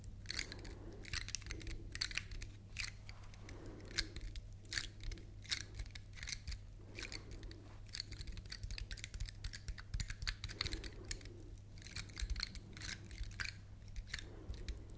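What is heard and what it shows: Long nails scratch and flick along the woody scales of a large, solid, dark brown dry pine cone. Rapid, crisp, dry clicks and brittle ticks come in bright bursts, each dying away almost instantly. A steady low hum runs underneath throughout.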